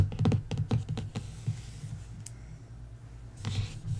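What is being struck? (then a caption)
Printed hardcover book board. A long fingernail traces and scratches over the printed text on the cover of a bare printed hardcover book lying flat. Quick, irregular scratchy strokes cluster at the start, thin out into a soft, low rustle in the middle, then a brief brighter scrape returns near the end. The sound is dull and low-heavy, with little ring after each stroke.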